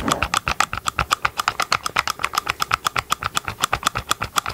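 Gloved fingertips tap quickly on the hollow green plastic engine cover of a chainsaw, held close to the mic. About 36 short, dry clicks come in a steady, slightly uneven stream at roughly four per second, each with a hollow plastic tone around 1.2 kHz and a bright top. The taps die away almost instantly.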